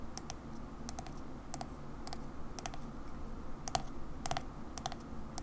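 A ceramic Coca-Cola mug is held on its side while long fingernails tap its white ceramic base. The taps come in quick, irregular pairs and small clusters of short, bright, high clicks that stop almost instantly, over a soft low background hum.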